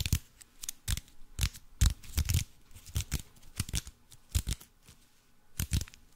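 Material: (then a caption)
Aluminium foil. Fingertips and nails scratch and crinkle the aluminium foil wrapped around a cube-shaped block. The result is irregular, closely spaced bursts of crisp crackling and scratching, each with a bright hiss on top and a soft low thump underneath. Every burst dies away almost at once.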